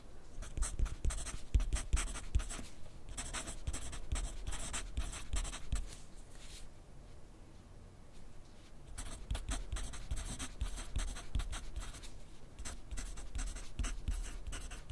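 A yellow wooden graphite pencil writes continuously on a thin grid paper sheet resting on a white clipboard. Quick, irregular scratching strokes of the pencil tip are heard, with soft low taps against the clipboard. The writing quiets briefly in the middle before resuming.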